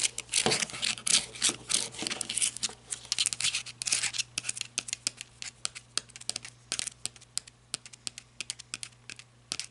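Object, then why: Flashlight with ribbed rubber grip. Long red nails scratch and tap the grooved body of a black, ribbed, rubber-gripped flashlight with a partly visible lanyard, which lies on a table and is then held. Dense, bright, crackly scratching fills the first few seconds, then gives way to sparser, quick, sharp taps that die away almost instantly. A faint steady low hum runs underneath throughout.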